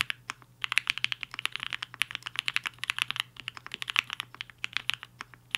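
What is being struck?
Mechanical keyboard with plastic keycaps.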